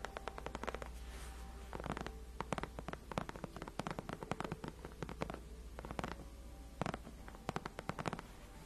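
Long nails of both hands scratch and tap the white padded faux leather backrest of a gaming chair. Quick, dry, crisp clicks and soft scratching strokes come in uneven rapid bursts over a steady low hum, and each tap dies away almost instantly on the cushioned surface.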